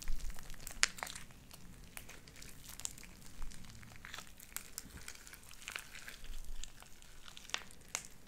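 Light-blue sticky slime with white beads is kneaded and squished with fingers and nails, then stretched into thin strings. It gives a quiet run of bright crackling, crinkling pops and sharp sticky clicks over a soft low rustle.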